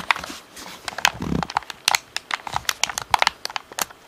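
Fingertips tap the bumpers and shell of a hollow black plastic Xbox controller, tilted to show its top edge. About twenty quick, dry, clicky taps come in an irregular rhythm, bright with little low end and almost no ring. A brief soft low rustle sounds partway through.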